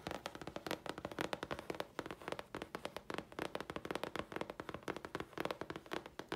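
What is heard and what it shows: Long fingernails scratch and tap a thin, flat grey chipboard sheet held upright. The result is a rapid, uneven run of dry, crisp clicks and scratchy taps centred in the midrange, each dying away almost at once.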